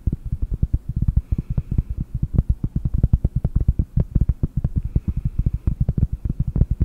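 Long painted nails tap rapidly on a round solid cork board held close to the microphone, making a steady stream of soft, dull low thuds. Each tap dies away almost at once, with hardly any high-frequency brightness.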